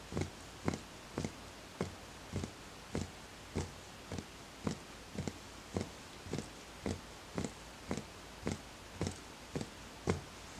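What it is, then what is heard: Empty wooden bowl, hollow. Fingertips tap the side of a small, empty, hollow wooden bowl in a steady series of light knocks, roughly every half second. Each tap is a short, dull, hollow knock with a low-weighted body and a brief bright click. It dies away almost instantly over a quiet background hiss.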